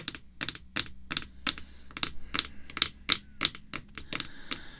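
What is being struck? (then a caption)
Acrylic screw-down card holder tapped with fingernails. Long red fake nails tap on the face of a clear acrylic screw-down card holder with a Post cereal card inside, held flat. A steady run of sharp, bright, clicky taps with a quick decay sits over a faint low hum.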